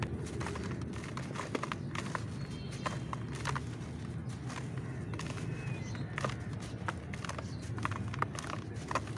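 A large, solid, dusty grey clump of dry ash or cement-like powder sits inside a plastic basin while both bare hands squeeze and crumble it with the fingers, letting dust and powder fall away. Many short, dry crunches and crackles with bright tops rise over a steady low rustling bed. The clump keeps breaking apart at an even, quiet level.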